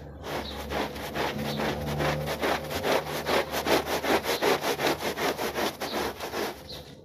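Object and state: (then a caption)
Wet pile rug being scrubbed. A small foot-shaped textile pile rug, soaked and foamy with soap, is scrubbed by hand with a plastic bristle brush. Steady back-and-forth strokes give a wet, squishy, bright scrubbing sound at about two and a half strokes per second. A faint low hum sits underneath during the first few seconds.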